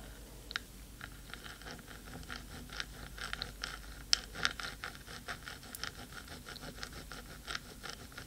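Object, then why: Metal microphone housing. Long pointed nails of both hands scratch and tap the hollow black metal top of a 3Dio microphone. The result is a quiet, dense, bright scratching with irregular, dry clicking taps. A few sharper, louder ticks stand out.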